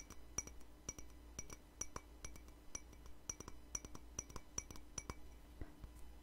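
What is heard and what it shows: A small, hollow, empty white ceramic cup is tapped and clinked with long fingernails, the same cup throughout. Each tap gives a sharp, bright clink with a high ring that dies away almost at once, over a steady low background hum.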